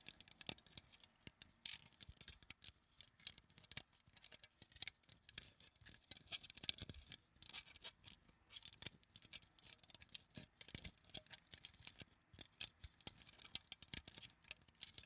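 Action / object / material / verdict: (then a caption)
tap / plastic flower-shaped claw clip / plastic / none. A small translucent pink plastic flower-shaped claw clip, held in both hands, is tapped and scratched with long acrylic nails. The result is a quiet, steady stream of crisp, dry clicks and scratchy rasps, bright and thin with little low end, each tap dying away almost instantly.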